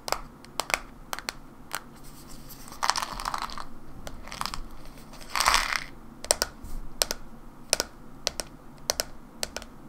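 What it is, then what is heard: Plastic supplement bottle. Long nails tap slowly on a white plastic supplement bottle with a barcode label, held in the hands, making sharp, bright clicks. Between the taps, brief bursts of scratchy, crinkling friction rise around the third and fifth seconds before the light tapping resumes.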